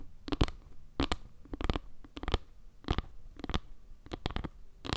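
Long nails scratch along the edges and faces of a solid round board made of small wood slices, tilted close to the mic. Short, dry, scratchy bursts come in irregular clusters, with a bright rasp over a low, rumbly thump. Each burst stops dead with no ring.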